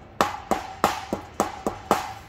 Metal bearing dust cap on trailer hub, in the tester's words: you'll hear it when it's solid ... when it sounds solid it's on